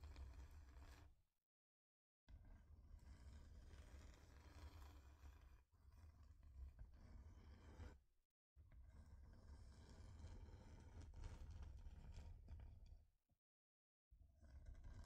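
Long nails scratch and rub across a thin, flat, solid wooden heart-shaped plaque, making a dense, continuous, low rumbling scrape. The scratching comes in three long passes separated by brief silent pauses.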